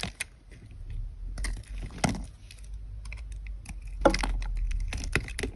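A utility knife blade scrapes and slices curls off the edge of a solid white soap bar held in the hand. Short, crisp scraping strokes and light clicky cuts come in uneven bursts, with a few sharper, louder slices standing out over a steady low hum.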